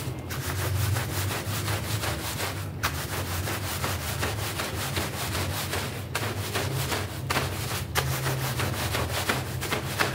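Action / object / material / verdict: scrape / synthetic shaggy pile rug / synthetic fibre / none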